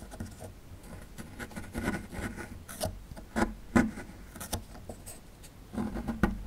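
A small metal chisel-tip tool scrapes at a small, solid plaster fossil excavation block, making dry, gritty scratching with a run of sharper clicking scrapes as crumbs break off. The sounds are short and close, with little ring after each stroke.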